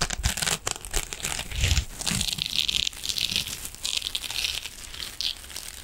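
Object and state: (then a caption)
Metallic mesh scrubbing sponge. A silver metallic mesh scrubbing sponge is scratched and squeezed with fingernails, producing dense, bright crinkling and scraping with brief low thumps from the squeezing. The texture stays continuous and busy throughout, with many quick scratches blurring into a steady rustle.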